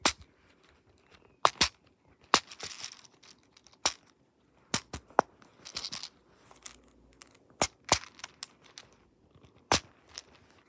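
Fingertips repeatedly press and pop the colored silicone bubbles of a hand-sized, flower-shaped pop-it fidget toy with a black hard plastic frame and a bead maze on its reverse side, and the toy is flipped over to its bead side partway through. Sharp, dry, bright pops snap out one after another with almost no ring or low end, between quieter stretches of soft rattling and rustling.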